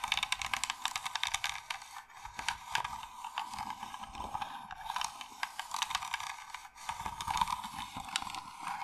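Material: Wood.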